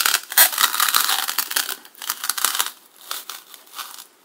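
A large serrated black knife is dragged back and forth in a sawing, rubbing motion across the top edge of a solid white polystyrene foam block with a cut groove, sitting on a table. It makes bright, crinkly, squeaky scraping in quick irregular strokes with no low end. The strokes are dense and loud for the first two seconds, then come in sparser bursts that fade out.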